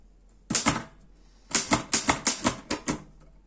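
Fingertips type on the keys of a black metal Erika 5 portable typewriter. Ten short, bright clacks with quick decay come as two strikes, a pause, then a run of eight.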